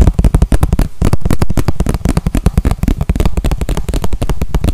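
A small, clear, hollow plastic container, apparently empty, is held in the hands and tapped and scratched with the fingertips and nails. The result is a rapid, continuous run of short, dull, bassy clicks and taps that die away almost instantly.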